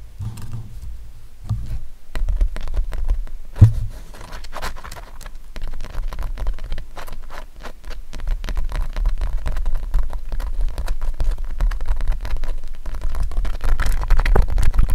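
Fingertips and nails tap rapidly on the painted surface near the edge of an acrylic-painted stretched canvas showing a lion. The result is a dense, uneven patter of short, dull, low thuds with little ring, plus one sharper knock partway through.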